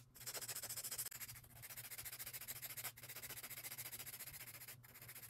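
The edges of long acrylic nail extensions on a hand are filed with a grey emery board in quick, steady back-and-forth strokes. The result is a bright, high, rasping scratch over a faint low hum, broken by a few brief pauses.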